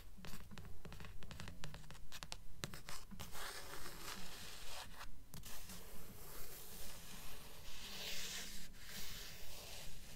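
Long nails rub and scratch across the glossy card cover of a thick blue paperback book held upright. Twenty quiet, steady scratching strokes repeat at a regular pace, each a short dry rasp with a low rumble underneath and a faint bright hiss.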